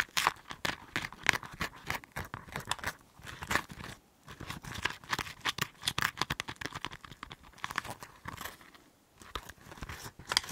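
A cotton swab is dragged and scraped inside a hollow half of a green chili pepper held close to the microphone. It makes dense, crisp scratching and crinkling strokes with a bright, papery edge. The strokes come in rapid bursts with short quiet pauses around 4 and 9 seconds.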